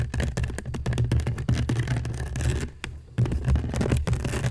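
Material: Seagrass.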